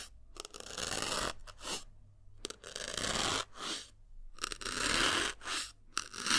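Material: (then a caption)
Melamine foam. A thin metal needle is repeatedly stabbed into a small white solid melamine foam block, producing bursts of crunchy, tearing, scratchy crackle. The bright, rustling bursts come in uneven clusters, with short quiet gaps between them.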